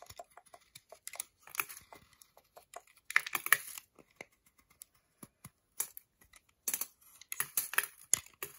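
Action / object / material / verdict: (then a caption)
scrape / milk chocolate bar scraped with a metal blade / chocolate / none. A metal utility knife blade scrapes and chips at a segmented solid milk chocolate bar held in the hand. Quick, dry clicks and brittle crackly scratches come in irregular bursts, bright and crisp with almost no low end and no ring. Louder clusters of rapid scraping arrive around the middle and near the end.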